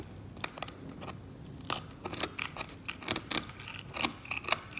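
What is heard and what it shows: A metal scalpel scrapes a glossy, thick varnish off the same oil painting in strokes, lifting it away in flakes. Each stroke gives a sharp, bright, crackling scrape with almost no ring, in a quick irregular series over a faint hiss.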